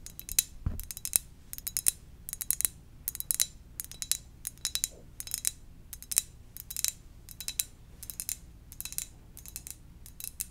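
A ceramic donut-shaped mug is tapped gently in quick, repeated bursts. Each tap is a bright, dry click with almost no ring, heard over a faint low background hum.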